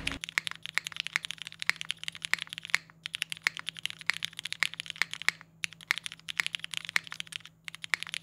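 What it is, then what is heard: Mechanical keyboard being typed on. Fingertips type continuously on the ABS GMK Boneyard keycaps of a compact Singa Kohaku PC R2 mechanical keyboard with a polycarbonate case. It produces a fast stream of short, bright, crisp clacks with almost no ring, broken by a few brief pauses, over a faint steady low hum.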